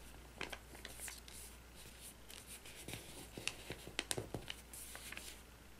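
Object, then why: Glossy paper magazine pages. Fingertips and nails rub and slide over the page surface of an open glossy paper magazine near the binding, with some page handling and crinkling. Soft, bright papery swishes are broken by sharp, quick ticks and crackles that cluster in the second half. A steady low hum sits underneath the quiet rustling.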